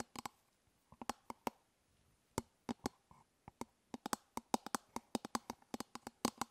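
Long nails tap and scratch the curved top of an elongated, hollow hard-plastic toothbrush travel case held in one hand. About 28 quiet, sharp clicks fall in an irregular rhythm, each with a brief hollow, mid-pitched body and a bright edge that dies away almost instantly.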